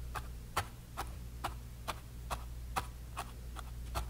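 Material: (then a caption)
Canvas. A bristle brush stipples grey paint onto a small canvas panel with repeated light taps. Ten short, dry ticks with a bright edge and a mid-range body around 1 kHz come at a loose, uneven rhythm. A steady low hum sits underneath.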